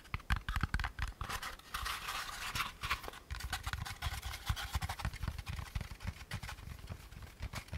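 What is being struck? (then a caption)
Molded paper pulp packaging insert. Fingertips tap and scratch the walls and rim of a hand-sized, hollow, empty beige molded paper pulp packaging insert. Quick, dull, low thumps patter in irregular runs, broken by dry, bright scratching rubs. Each hit dies away almost instantly.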